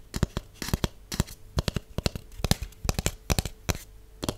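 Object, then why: Cardboard tube. A hollow white cardboard tube with one open end is tapped along its surface with long acrylic nails and natural nails. About two dozen quick, irregular taps each give a dull, hollow low thump with a sharp clicky top and no ring.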